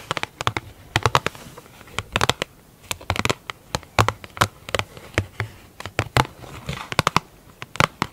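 A large, hollow, round black plastic lid with a clear plastic top is scratched and tapped with long acrylic nails on both hands. The result is a rapid, irregular run of sharp, dry clicks and short scratchy strokes that die out almost instantly, with a faint low body under a mid-pitched, bright plastic tone.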